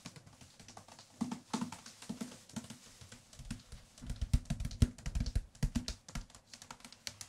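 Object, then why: Paperback paper book. Fingertips tap on the card cover and spine of a medium-thickness paperback book with a white and dark-gray cover and a solid paper block, held in both hands. The result is a steady run of quick, irregular, dull low thuds that stop almost instantly, with faint papery clicks on top.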